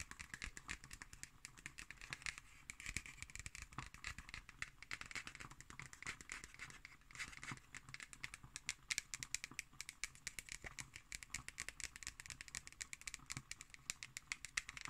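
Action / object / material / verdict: scrape / cardboard hardcover notebook cover / cardboard / none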